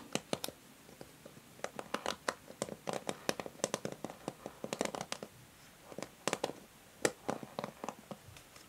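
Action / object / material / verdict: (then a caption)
scrape / plastic hair brush / plastic / none. A plastic hair brush held bristles-down as long nails scratch across its bristle tips and body. The result is a quiet, irregular run of quick, dry scratches and crisp ticking clicks with bright edges, each dying away almost instantly, in clustered bursts separated by brief pauses.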